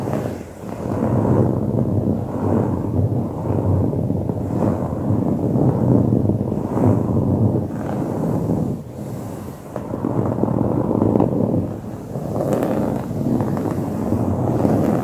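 Short fingernails and fingertips of both hands rapidly scratch dark grey, coarse-woven fabric upholstery on a padded cushion. The result is a dense, continuous rasping scrub, mostly low and muffled with almost nothing bright. It swells and dips slightly in waves as the scratching strokes shift.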